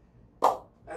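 A new cricket ball is bounced on the face of a CA Plus 15K willow cricket bat, giving one sharp, ringing ping centred around 770 Hz that fades quickly, followed by a softer, duller knock. The bat shows an amazing, lively ping, with the ball bouncing off so strongly it is hard to control.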